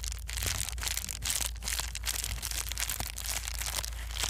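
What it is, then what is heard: Plastic bubble wrap being crumpled. A small piece of plastic bubble wrap is squeezed and crumpled with fingertips and palms, giving a steady, dense crinkling and crackling. Bright, high rustle runs throughout over a low rumble, with brief sharper crackles now and then.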